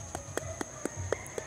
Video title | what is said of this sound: The Ultimate Guide to Ripe Durian: Sound, Smell, and Spikes! (Don't Waste Your Fruit!) | yan parang empty siya, yan ano na yan, pwede na yung pitasin